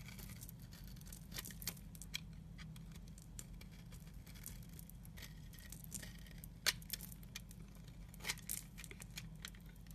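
A utility knife blade shaves flakes from the end of a solid red and pink striped soap bar held in the hand. Quiet, dry scraping and crisp crackling ticks run throughout, with a few brighter sharp snaps standing out over a steady low hum.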